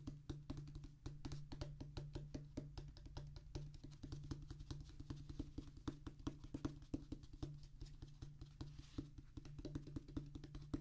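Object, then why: Rubber and cork drum practice pad. A flat, solid drum practice pad with a black rubber top on a tan cork-like base is drummed with the fingertips of both hands. The result is a rapid, continuous stream of short, dull taps that stop almost instantly, with most of the energy in low thuds and a faint, thin click on each stroke.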